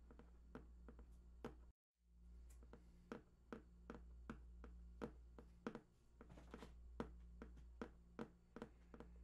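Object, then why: Cardboard box. Fingertips tap near the right edge of a large, hollow printed cardboard PlayStation 4 box with unknown contents, producing a steady series of short, dull taps that die away almost instantly. A constant low hum runs underneath, broken by a brief moment of total silence near the two-second mark.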